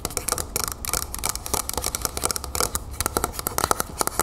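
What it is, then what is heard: Metal aerosol can tapped and scratched with nails. Long fingernails on both hands scratch and rapidly tap the body of a medium, hollow, copper-colored Vaseline aerosol spray can standing upright. The result is a fast, irregular stream of short, bright clicks and scrapes with a faint metallic ring around 1.3 kHz, each tap dying away almost at once.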